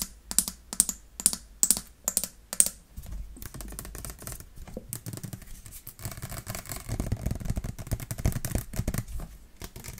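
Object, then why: Plastic water bottle. Long painted nails tap a clear plastic water bottle with a yellow cap and a printed label, held in the hands, producing a quick series of sharp, bright clicks over the first few seconds. The nails then scratch and rub along the bottle, making a continuous crinkly rasping that grows fuller and louder toward the end.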